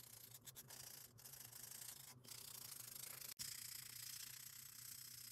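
A gloved hand rubs a small pink and orange foam buffer block along the surface of a long acrylic nail, buffing it. The result is a steady, bright, hissy scrubbing with a faint low hum underneath, broken by a few brief dips and one short silence before the rubbing resumes.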